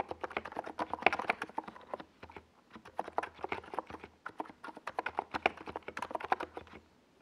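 A compact 68-key NiZ Plum Atom 68 mechanical keyboard with a white plastic case and purple and yellow Domikey Gas Attack SA plastic keycaps rests on a desk pad while the fingertips of both hands type across the keys. Quick, dry plastic clacks come in two bursts of rapid typing, with a short pause near the middle and a faint low hum underneath. Each keystroke is crisp and mid-pitched and stops almost instantly.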